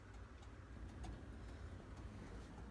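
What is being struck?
Nothing is struck.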